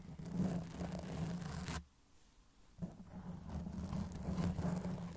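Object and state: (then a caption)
Foam microphone windscreen being scratched. Long acrylic nails slowly scratch a black foam windscreen on a silver Blue Yeti microphone, with the fingers near the metal body at the start. The scratching comes across as a dense, low, muffled rumble with a steady droning tone near 176 Hz and almost no bright content. It stops into near-silence for about a second midway, then resumes at the same level.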